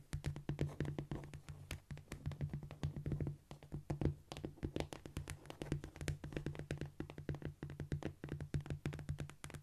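Fingertips tap rapidly on a cork floor in a dense, uneven run of short, dull taps that die away almost at once. Each tap has a soft low thud with a faint bright click, over a steady low hum of about 145 Hz.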